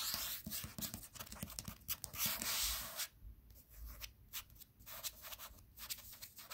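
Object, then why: Paperback book with glossy cardstock cover. Fingertips and short nails tap and scratch the glossy cardstock cover of a paperback novel held flat, a solid block of paper. Bright, crisp taps and rasping scratches come in quick irregular bursts, with a louder stretch of steady scratching before the sound drops to softer, sparser tapping.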